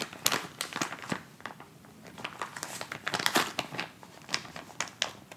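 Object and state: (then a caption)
Plastic instant cold pack. A white plastic instant cold pack pouch is folded, handled, and crinkled and scratched with fingers. Sharp, bright plastic crackles come in irregular bursts with quiet gaps between them, each crinkle dying away almost instantly.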